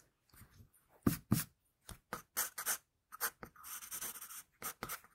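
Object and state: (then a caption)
Pencil drawing on paper. A wooden pencil tip draws and scratches lines on a flat sheet of drawing paper. Short, bright, scratchy strokes come in quick irregular bursts, with a longer continuous stroke near the end. The whole clip stays quiet and close.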